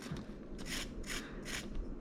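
Freshly fried rock bass fillets with a golden crust, cooling by a fan, are rubbed and scraped to show how crispy they are. Three bright, crackly rasping bursts rise over a steady low rumble from the fan.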